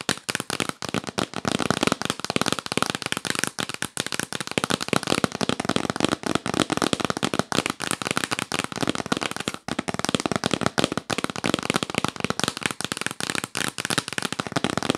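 Long nails tap fast and hard on a hollow, yellow printed cardboard gift box held upright. It makes a dense, continuous stream of sharp, dry clicks with a hollow papery knock and no ring. The rapid crackle keeps up at a steady level throughout.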